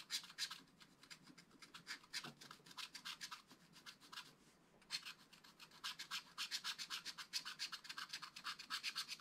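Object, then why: Wooden stylus on black-coated scratch-art card. A wooden stylus scratches tree trunks into the black-coated card of a flat, spiral-bound scratch-art pad. Quick, bright, dry scratching strokes repeat at a brisk, somewhat uneven pace. They ease into a softer lull around the middle, then resume steadily.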